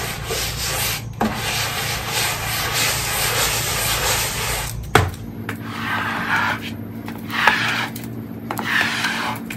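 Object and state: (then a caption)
Wet ceramic floor tiles being scrubbed. A long-handled white stiff-bristle floor brush scrubs a soapy, wet ceramic tile floor of large terracotta-colored tiles, making a dense, bright, rasping swish over a low steady hum. The scrubbing runs continuously for about five seconds, then a sharp knock cuts in and it breaks into separate, wetter strokes with short pauses between them.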